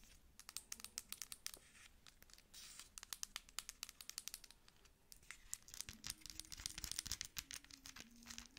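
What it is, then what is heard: Plastic pump lotion bottle. A dark plastic cosmetic pump lotion bottle with a label and pump dispenser is held in both hands and tapped and scratched on its label and body with long acrylic nails. Quick, crisp, bright taps and clicks mix with soft, crinkly scratching throughout. The sound is quiet and dry, with each tap cutting off almost instantly.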